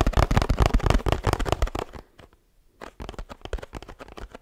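A 1 L oat milk carton made of laminated paperboard has its bottom and sides tapped with the fingertips. Rapid, dense, dull low thuds with a crackly edge fill the first two seconds, then fall to near silence before lighter, sparser taps resume. Each tap is short and dry, with almost no ring.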